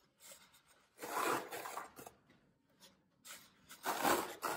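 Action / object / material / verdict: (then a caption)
scrape / floral foam block / phenolic foam / none. Fingertips press into and crush the top edge of a brick-sized solid block of green phenolic floral foam lying on a white table, leaving dents and crumbs. A series of dry, crisp crunching and crackling bursts is heard, with two louder stretches of brittle, bright crumbling between quieter crackles.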